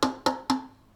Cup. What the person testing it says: hit it without anything inside. That way that all those vibrations can bounce off of the inside of the cup